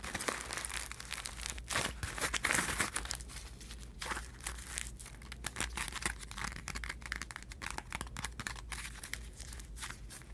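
Fingertips and nails crumple a flat pile of thin, crinkled aluminum foil sheets, then rub the foil flat. The result is dense, continuous crinkling and crackling with bright, sharp edges over a faint steady low hum, staying at a fairly even level throughout.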